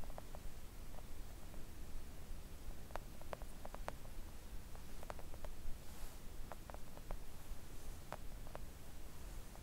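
Long acrylic nails tap a flat pink silicone nail art mat lying on a table, making soft, brief, scattered clicks. The taps sit over a constant low rumbling hum that carries almost all the energy, so the clicks stay quiet and muted.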